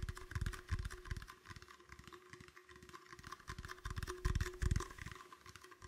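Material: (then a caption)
Plastic. A medium, empty, clear, hollow plastic bottle held in the hands is tapped and squeezed with the fingertips. Irregular, quick, dull low thumps mix with bright crinkling rattles, each tap dying away almost at once.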